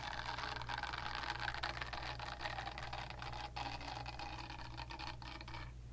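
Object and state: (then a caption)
Silicone facial cleansing brush. Long nails scratch and tap the smooth back of a pink, palm-sized silicone facial cleansing brush held close beside the microphone. The result is a dense, continuous, bright scratching with quick tapping textures over a steady low hum. The scratching thins out and the high sound drops away just before the end.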